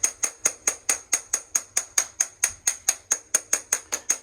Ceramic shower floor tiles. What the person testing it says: when I tap on these tiles in the shower, these tiles here are drummy and loose